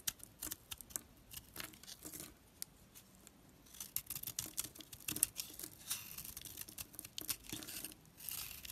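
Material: Soap.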